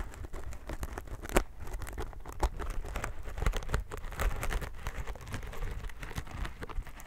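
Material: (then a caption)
Plastic film. A plastic-wrapped sponge pack is held close to the microphone while its wrap is scratched and tapped with fingertips and nails. The result is a steady run of quick, dry crinkly plastic taps and scratches over a low, heavy rumble, with a few sharper louder taps standing out.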